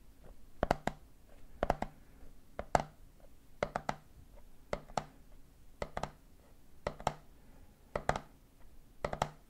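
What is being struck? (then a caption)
Plastic jar with plastic lid, full of peanuts. Fingertips tap the red plastic lid of a medium clear plastic jar full of peanuts while the other hand taps the side of the jar. The taps come in quick clusters repeating about once a second in a steady rhythm. Each tap is a short, dry click with a hollow midrange knock and a faint low thump, and it dies away almost instantly with no ring.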